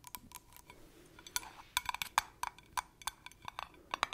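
Long acrylic nails tap and scratch the lid of a small, round, yellow metal tin of cream, lidded and likely full. The result is a quick, irregular run of sharp, bright clicks with a faint metallic tone around 1.2 kHz that dies away instantly, with soft scratching between the taps.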